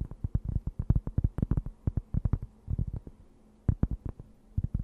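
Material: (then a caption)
Cork. Long nails scratch a thin, round, solid and flat cork board held close to the mic, making a rapid series of short, dull, low scrapes with almost no bright edge. The strokes come in quick bursts, pause briefly just past the three-second mark, then resume.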